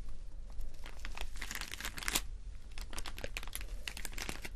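Fingernails of both hands scratch a clear plastic rhinestone sticker sheet with rows of small acrylic rhinestones. The result is a dense, continuous run of crisp crinkling and clicking scratches with bright, high edges over a low hum.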